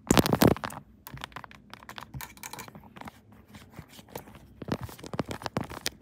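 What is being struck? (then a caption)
Silicone phone case on a smartphone. Long nails and fingertips tap and scratch a pink silicone Kirby phone case with raised keypad buttons on a smartphone, giving quick, irregular soft clicks and scrapes. A loud crinkly burst opens the clip, and fingertips press the keys in sharper taps near the end.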